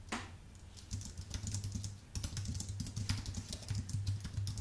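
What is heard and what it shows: Fingertips type fast on a white full-size Apple Magic Keyboard with plastic keycaps on an aluminium base. The result is a steady stream of soft, quick key clacks, each with a dull low thump and a bright tick, with a brief lull near the two-second mark. The clacks then pick up again.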